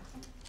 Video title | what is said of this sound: The Queen's Favourite Meals: Making A Jubilee Feast - All Episodes: Royal Recipes - Real Royalty | you need them to be nice and crispy when they come out of the oven